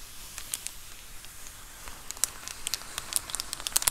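Long acrylic nails scratch the bubbled surface of a large white plastic Amazon Prime bubble mailer lying flat. The result is a soft, airy crinkling hiss dotted with sharp, bright crackles and ticks. The crackles grow busier and louder in the second half.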